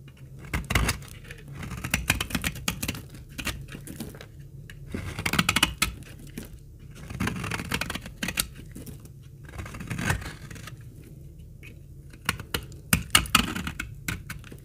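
A utility blade scrapes the corner off a solid, dark brown bar of old, dried laundry soap, leaving crumbly shavings. Repeated dry, crackly scraping strokes with a bright, brittle crunch come in uneven bursts over a soft low rumble, with quiet pauses between.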